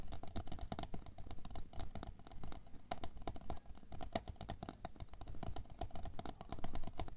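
Long nails tap fast along the side of a tall, clear, labeled plastic container full of red aqua pearls (water beads), lying on fur. A dense stream of quick, dry, clicky taps runs steadily throughout, with a deep low body beneath and short bright ticks on top.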